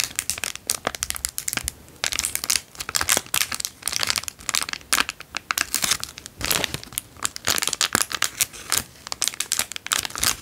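A small, heavily creased, empty clear cellophane-like plastic bag is held in both hands and crinkled with the fingertips. It makes dense, bright crackling in quick bursts, separated by brief pauses, with almost no low end.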